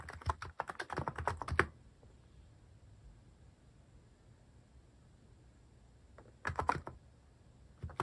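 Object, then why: Plastic mechanical keyboard. Fingertips repeatedly press the plastic keycaps, some cat- and paw-shaped, on a cream plastic-case mechanical keyboard. A quick run of sharp, clacky keystrokes with a low thump lasts under two seconds, then comes a long quiet pause. A short second burst of typing follows near the end, and one more begins just as the clip ends.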